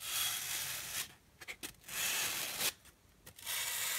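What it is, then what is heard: Polystyrene foam packing block being rubbed. Two flat, solid, hand-sized white polystyrene foam packing blocks are held together and rubbed and scratched with long dark-painted nails and fingertips. Three long passes of bright, airy rubbing hiss are separated by short, squeaky scratches and near-silent pauses.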